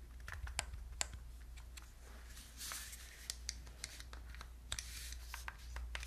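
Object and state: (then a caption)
Plastic game controller. Long nails tap and click on the buttons and casing of a hollow, handheld gold plastic Wii remote with a wrist strap. The result is a quick, irregular run of short, dry, bright clicks with almost no ring, over a steady low hum.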